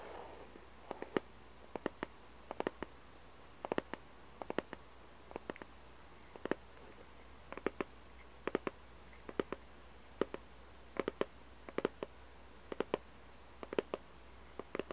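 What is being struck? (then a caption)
Cardboard puzzle box. Long red nails tap and scratch on a small, hollow cardboard jigsaw puzzle box with a glossy printed picture. A steady series of quick, dry clicks arrives in small clusters of two or three, each with a hollow body around 380 Hz and a bright edge. The clicks die away almost instantly over a quiet, low background hum.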